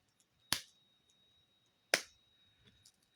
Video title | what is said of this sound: Creative Visualization, Meditation and the Epiphanies of Manifesting | You can actually hear the the beads inside the pyramid shaking. And um I didn't anticipate that.